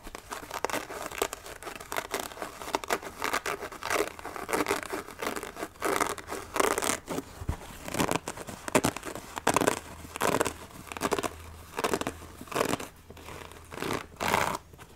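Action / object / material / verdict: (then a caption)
scrape / sneaker, synthetic upper with rubber sole / synthetic / none. A hollow, empty white lace-up sneaker, an athletic shoe with a mixed synthetic and leather-like upper and a rubber sole, is held up near the microphone and scratched by long fingernails. Quick bursts of dry, crinkly scratching rise and fall in short runs, bright and papery with almost no low end.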